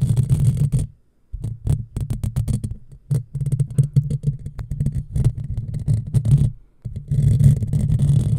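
Long fingernails of both hands scratch rapidly over a hollow black metal mesh microphone grille, close up. The result is a dense, crackly stream of scratches with a heavy low, muffled rumble, pausing briefly twice.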